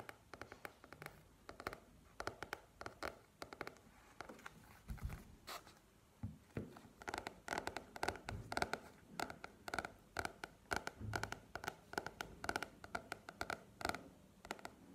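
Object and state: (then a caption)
Paperback book. Long painted nails tap and scratch across the glossy cover of a softcover "Go Pro" paperback book, a solid paper block held upright on a table. The result is a quiet, steady stream of short, dry clicks and papery scratches with a mid-range knock and brief bright edges, each dying away almost instantly.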